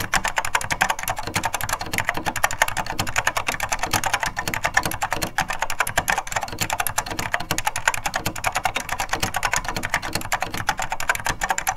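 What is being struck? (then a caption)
Plastic mechanical keyboard. Two hands type continuously with their fingertips on a beige plastic SORD M101 full-size vintage mechanical keyboard with linear Mitsumi switches, picked up by a microphone held close above. A rapid, steady stream of short, crisp plastic clacks runs throughout, bright and dry with a light low thump beneath each keystroke.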